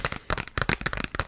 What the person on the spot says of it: it's like that paper package. It's got that, hollow sound to it.